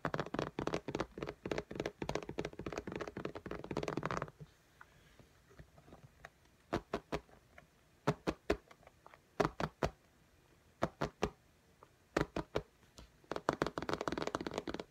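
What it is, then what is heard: Tablet glass screen tapped with fingernails. Long fingernails tap on the glass screen of an iPad in a pink case. A quick, dense run of short, dry clicking taps gives way to sparser clusters of sharp taps with quiet gaps, then a fast flurry of tapping returns at the end.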